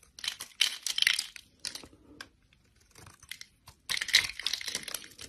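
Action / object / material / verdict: scrape / bar of translucent soap / soap / none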